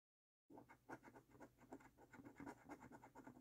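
A coin scratches the latex coating off a thin, flat paper lottery scratch card in repeated short strokes. After a half-second of silence, a quiet, steady series of soft, dry scrapes follows, each a brief rasp with a faint papery hiss.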